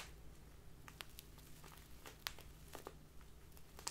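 A small crinkly plastic bag full of loose tea is held in both hands and squeezed and crinkled by fingertips with long dark-painted nails. Quiet, scattered crackles and sharp, bright plastic snaps come at irregular moments over a steady low background hum, each dying away almost instantly.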